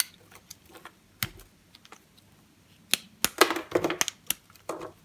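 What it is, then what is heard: Bar soap being carved. A box-cutter blade carves thin shavings off the edge of a solid green bar of soap held in the hand. Quiet, scattered scraping ticks build into a denser run of crisp, bright scraping cuts toward the end, each stroke short with almost no ring.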